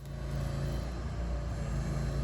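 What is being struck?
Nothing is struck.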